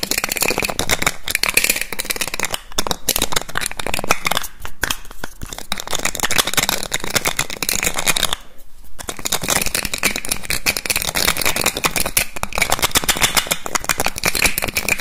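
A small clear glass perfume bottle with a black cap has its cap quickly taken off, put back and rattled on the neck with the fingers. This makes fast, dense, bright clicking and rattling that runs almost the whole clip, with a strong ringing tone near 2.5 kHz. The sound stops briefly around 2.7, 4.7 and 8.5 seconds.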